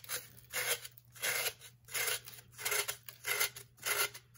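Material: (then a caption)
Baking soda. A metal knife shaves layers off the face and lower edge of a solid, hand-sized, blue-tinted compressed baking soda block, crumbling powder onto the table. A steady series of bright, gritty scraping strokes rises and fades in even bursts, with no low rumble and little ring after each pass.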